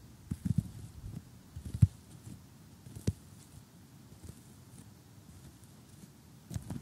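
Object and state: Cardboard jigsaw puzzle tapped with fingers.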